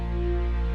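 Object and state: Nothing is struck.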